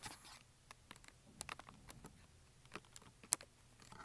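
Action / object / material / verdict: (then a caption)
tap / cardboard box filled with wax crayons / cardboard, wax / none. Fingertips and nails quickly tap and click on the wax crayon tips and the top of a small Crayola cardboard box full of crayons, resting on carpet. About ten rapid, light, bright clicks sound like keyboard typing over a faint scratchy hiss, each dying away instantly with no ring.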